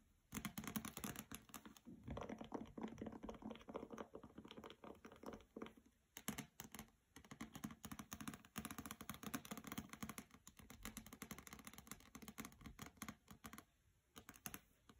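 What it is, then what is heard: Hardcover book with glossy dust jacket. Long painted nails tap and scratch on a solid hardcover copy of "Graceling" with a glossy paper dust jacket, resting on carpet. Quick, dry clicks and patters blend with soft scraping in a steady, fast stream, with a low body around 215 Hz and brief lulls near the six- and fourteen-second marks.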